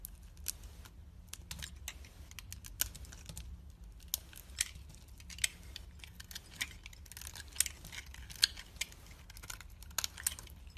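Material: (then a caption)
Soap. A hand with long red nails holds a solid, hand-sized, opaque orange soap bar while a metal craft blade scrapes and slices it into flakes. Quiet, bright, crisp scrapes and short clicking cuts repeat over a steady low hum. Each stroke stops almost instantly, with no ring.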